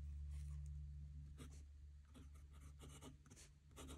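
A metal fountain pen nib scratches across a squared paper notebook page lying flat on a desk as a hand writes. Short, bright, scratchy strokes come in quick, fairly regular bursts over a steady low hum.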